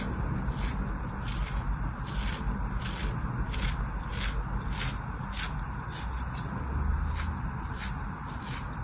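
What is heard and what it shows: A small metal knife slices thin layers off a small, solid piece of molded kinetic sand lying in an open palm. Each stroke makes a soft, gritty scrape with a brief bright crunch, repeating steadily over a constant low rumble.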